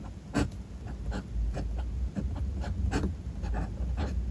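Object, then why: Paper notebook page with metal fountain pen nib. A metal fountain pen nib scratches across a spiral-bound paper notebook page resting on a desk while writing. Short, soft scraping strokes come in irregular bursts over a steady low background hum.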